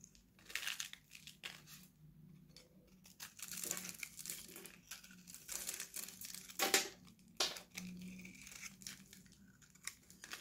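An oval, purple, hand-sized solid Nivea bar soap is held in one hand and shaved with a steel utility knife blade, piling up dry, crunchy flakes behind it. The scraping and cutting make irregular bursts of bright, crisp crinkling and crunching, some sharper and louder than others, separated by brief quiet gaps.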